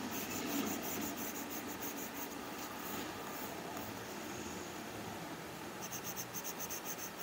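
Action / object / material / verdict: scrape / plastic stylus tip on a glass tablet screen with matte plastic film / plastic film / none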